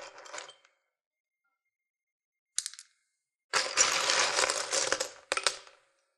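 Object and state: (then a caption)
Plastic sewing buttons rattling in a wooden box. Fingertips rummage and stir through an open wooden box full of small sewing buttons, mostly plastic with some metal ones mixed in. Bright, dense clicking and rattling comes in short bursts, then a long steady churn, then a final brief flurry, as the buttons knock against each other and the wooden box.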